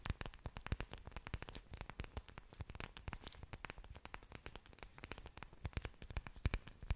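Long dark nails scratch and tap the surfaces of an orchid plant's several large, thick, waxy green leaves, which also show exposed aerial roots, held right up to the microphone. The result is a dense run of quick, dry clicks and scrapes with almost no ring. They are heavy in the low end, with faint bright crackle above.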